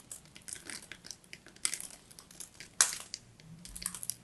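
A solid striped bar of soap, held upright, has its layers scraped off with a small metal blade. The result is a run of dry, bright scratching and crushing crackles, with a louder sharp crunch near the three-second mark. The energy sits almost entirely in the high range, and each sound stops quickly with no ring.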